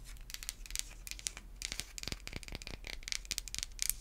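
A solid, hand-sized white bar of soap is scratched and tapped with long white acrylic nail tips. The result is a quiet, rapid series of crisp, dry clicks and scratchy rasps, bright and high with almost no ring after each touch.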